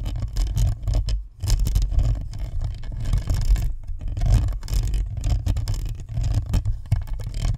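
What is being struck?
Plastic and metal-mesh microphone.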